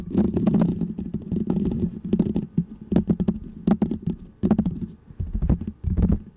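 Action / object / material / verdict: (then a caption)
scrape / foam microphone windscreen / foam / none. Fingertips and nails scratch and rub a small, round, white textured foam windscreen on a microphone. The result is a steady run of dense, muffled scratching and thumping with a strong low rumble and quick, bright, crackly ticks that come in bursts with brief quieter gaps.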